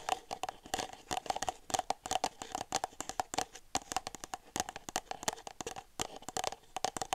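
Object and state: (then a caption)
Empty plastic party cup. Long nails tap rapidly on the outside of an empty red disposable plastic party cup, its hollow open end facing the mic. About 43 short, crisp clicks form an uneven run, each carrying a faint hollow plastic ring around 750 Hz and dying away almost instantly.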